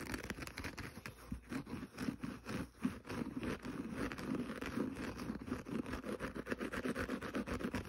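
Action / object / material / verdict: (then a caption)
scrape / kitchen sponge with synthetic scouring pad / synthetic fibre / none. Fingernails scratch the green synthetic scouring pad on the up-facing side of a small rectangular kitchen sponge held in the fingers. The result is a quiet, rapid, uneven run of rough scraping strokes with a muffled low-mid body and little high end, each stroke dying away almost at once.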